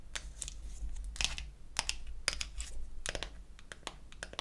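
A small pink-painted wooden toy eyeshadow case is opened, then closed, as long acrylic nails tap and scratch its wells, back and lid. The result is a run of sharp, bright clicks and short scratchy rasps that die away almost instantly over a steady low rumble.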